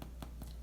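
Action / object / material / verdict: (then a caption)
knock / loaf of baked bread / bread / done. Three knocks on the brown bottom of a freshly baked loaf of bread, baked 17 minutes, give soft, hollow thuds over a low steady hum. The hollow sound shows the bread is done.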